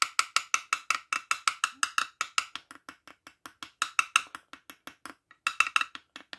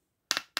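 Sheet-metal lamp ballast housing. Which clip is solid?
The second.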